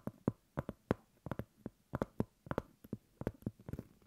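Long acrylic nails tap and scratch the surface of a flat, solid, round cork coaster about 15 cm across, held upright. About 18 quiet, dull, short taps land in an uneven rhythm, each dying away almost instantly with no ring, with faint scratchy texture between them.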